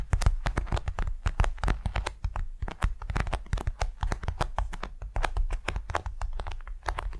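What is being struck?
Beeswax-coated cotton wrap.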